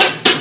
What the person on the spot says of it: On ne peut pas ne pas entendre le bruit quand on tape à la porte marocaine.